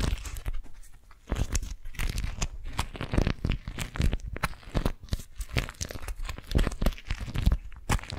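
An orange-print, beeswax-coated cotton food wrap is crumpled in the hands, with fingers gripping and crinkling the waxed fabric. The result is a steady run of dense, crackling crunches and tearing-like crinkles, each burst short and dry, with a heavy low thump under bright, papery snaps.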